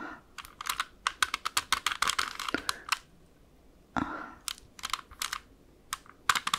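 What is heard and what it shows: A small, hollow plastic 3x3 Rubik's cube with colored stickers is held close and tapped across its faces with long acrylic French-tip nails. About two dozen quick, bright, clicky taps come in rapid bursts, with a quiet pause near the middle and a brief softer brushing sound before the tapping resumes. Each tap is sharp and dry with almost no ring, centered around 1.2 kHz.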